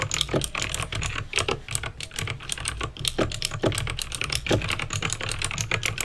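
Fingertips with painted nails type on a backlit plastic mechanical keyboard with clicky green switches. A rapid, continuous stream of sharp, bright clicks and clacks comes through, each dying away almost instantly, over a steady low hum.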